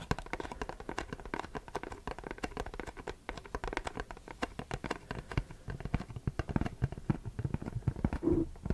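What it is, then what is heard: Cardboard box. Short fingernails rapidly tap and scratch a printed Versace cardboard perfume box held in the hands. The result is a dense stream of dry, dull taps with almost no ring, mixed with soft scratching, all heavy in the low end. The tapping grows a little louder and busier toward the end.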